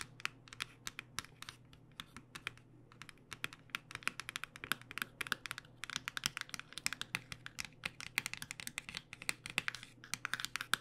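Long nails tap rapidly along the edge of a cardboard box of acrylic paint pens held flat. A fast, uneven run of sharp, bright clicks with no ring sounds over a faint, steady low hum.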